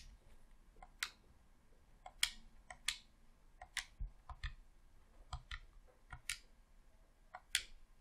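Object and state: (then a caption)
Plastic game controller buttons clicking. Fingertips click the D-pad, face buttons and thumbsticks of a hollow red plastic Xbox controller held in both hands. Ten short, sharp, bright plastic clicks sound at irregular intervals over about eight seconds, each with a faint low thump and almost no ring. Quiet background hiss fills the gaps between them.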